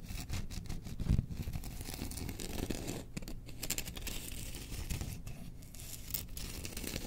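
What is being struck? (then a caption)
Bamboo spoon. Long nails scratch along the handle and bowl of a held bamboo spoon with a Chewbacca design. The scratching comes as a steady, dry rasp of quick overlapping strokes, with a low rumble underneath and brief bright scrapes, and stays at a fairly even level throughout.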